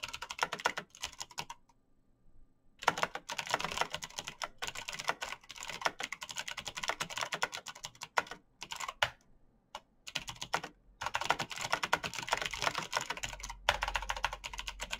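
Bare fingertips type fast on a black plastic mechanical keyboard with clicky switches, making dense bursts of sharp, bright clicks. There is a short pause early on and another brief gap later before the rapid typing resumes.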